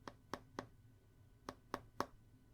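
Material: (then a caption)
Glass. Six forceful taps on the glass screen of a Google Pixel 9 Pro XL smartphone, a group of three and then another three, each a short, dry knock with a brief ringing tone near 1.1 kHz. The phone sounds hollow, though less hollow than the Pixel 7 Pro.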